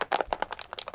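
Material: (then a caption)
Ink. A bottle of Chinese ink is shaken until its mixing balls, finally broken loose from the settled ink, rattle inside. The result is a quick run of short, dry clicks and knocks in the mid and upper range with almost no low end. The loose rattle means the ink is ready to use.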